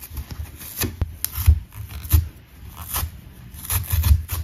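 A thin, flat, dry green abrasive nylon scouring pad, fibrous and solid, is held in both hands and pulled apart with the fingertips, while an unused orange sponge lies untouched at the side. Irregular bursts of dry, scratchy ripping and rasping rub carry a bright fibrous crackle over soft low thumps of handling. The tears come in short, uneven pulls that stop quickly with no ring.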